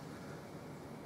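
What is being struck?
Nothing is struck.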